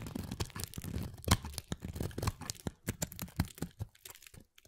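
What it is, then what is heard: Bar of soap being carved. A small, thinning pale mint solid soap bar is shaved with a utility knife blade held in the fingers, cutting and scraping across it. Quick crisp scrapes and crunchy cuts follow one another in a dense run, with low body and short bright edges, each dying away almost at once.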